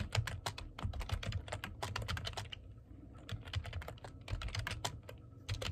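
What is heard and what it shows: Fingertips type on the keys of a black plastic computer keyboard in quick, uneven bursts of crisp clicks with soft low thumps beneath. Each bright keystroke clicks sharp and dies almost at once. The typing pauses briefly midway, then picks up again.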